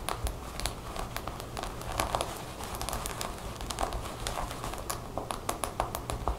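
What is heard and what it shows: Long nails quickly tap and scratch a black cotton jacket with buttons lying on a table. Rapid, sharp clicks on the buttons stand out over a steady, soft rustle of scratched fabric.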